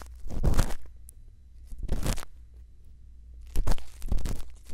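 A thin bamboo earpick scrapes inside the ear canal of a white silicone ear mounted on a round microphone housing, using small strokes. Close, muffled scratching and crunching bursts sit over a deep low rumble, separated by quiet gaps. The louder, denser strokes cluster toward the end.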